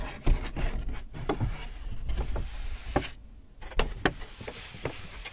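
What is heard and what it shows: A large white paper Hudson's Bay shopping bag with handles, hollow and apparently empty, is held up and rubbed and crinkled by fingertips and palms. The sound is a soft, low-heavy rustling broken by sharp, short crinkle snaps scattered through the clip.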